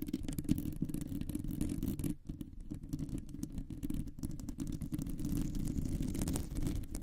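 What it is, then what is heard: Metal microphone mesh grille being scratched. Long nails scratch across a round, hollow metal mesh microphone grille, making a dense, continuous raspy scraping. The sound is heavy in the low end with crackly, bright edges. It eases briefly just after two seconds, then resumes at a steady level.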